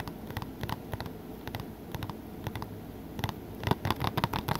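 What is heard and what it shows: Fingertips tap and scratch on the front of a blue Three Musketeers Blu-ray case made of hollow plastic, held up in the air. Quick, irregular clicky taps mix with dry scratching over a soft, low hum, and each tap dies away almost instantly. The tapping grows louder and denser toward the end.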